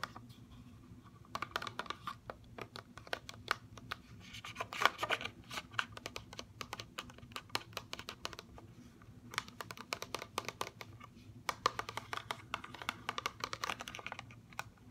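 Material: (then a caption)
Plastic. Long fingernails tap rapidly on an upright CoverGirl mascara blister package, a hollow clear plastic shell on a cardboard card with the mascara inside. The result is quick, bright, hollow plastic clicks that come in dense bursts with brief pauses, over a faint low hum.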